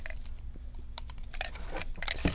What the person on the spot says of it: can you hear that little bead in there